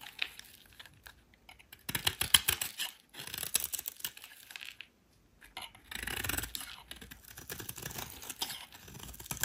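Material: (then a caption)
Soap. A solid rectangular white soap bar is held in the hand and shaved with a metal utility knife blade, sending shavings curling off. Bursts of dry, bright scraping and crisp tearing come in irregular strokes, separated by short pauses.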